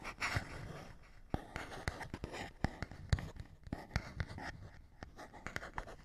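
A fingernail scratches across a small, hollow printed paperboard box with a barcode, making soft rasping strokes broken by a quick, uneven run of sharp, dry clicks. The sound is quiet and mostly low and hollow-bodied, with brief bright edges, and each click stops at once with no ring.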